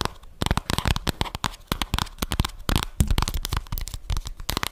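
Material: Cardboard.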